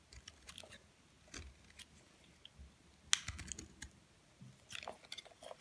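A utility knife blade repeatedly shaves and scrapes flakes off a solid, palm-sized, partly carved white Dove bar soap held in the hand. The strokes come as crisp, dry, bright crackling scrapes with short clicks and quiet pauses between them, and one sharper crack stands out near the middle.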